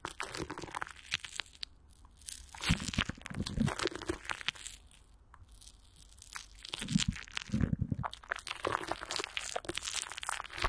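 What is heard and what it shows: Fingertips and long nails of both hands scratch and squeeze clear plastic wrap, with Vaseline, stretched over a hollow microphone grille. Dense, close crinkling and crunching scratches fill the clip, with bright, crackly detail and deeper, muffled thumps from the squeezes. A quieter, softer stretch falls in the middle before the crinkling builds again.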